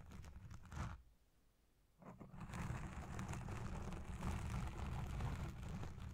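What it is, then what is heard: Foam microphone windscreen being scratched. A black foam windscreen dome on a Blue Yeti Pro microphone is scratched and pinched with the long red nails and fingertips of both hands. The result is a dense, crackling, rumbling scratch dominated by low frequencies, with a brief near-silent pause of about a second before it resumes, steady and slightly louder, until the end.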